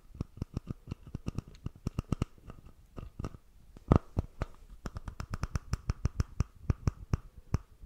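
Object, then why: Plastic bottle screw cap. Fingertips and nails scratch and tap the plastic screw cap of a red Prime plastic drink bottle, apparently full, close to the microphone. A rapid, uneven series of short, dry clicks with a soft low thump lands over almost eight seconds, with quieter scratching in between. Each tap dies away instantly without ringing.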